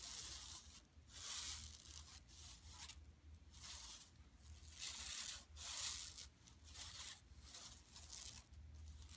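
Long nails scratch and rub across an empty, large, flat yellow woven plastic mesh tote bag lying on carpet. The result is a series of bright, raspy scraping strokes that rise and fall in loudness, with a faint low hum underneath.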